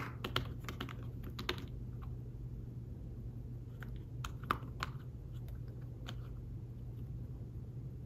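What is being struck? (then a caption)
Fabric-covered tablet folio keyboard. Fingertips type on a thin folio tablet keyboard with fabric-covered keys, making soft, short, dull taps in irregular bursts. The clicks are brief, with a slight bright edge, over a steady low hum.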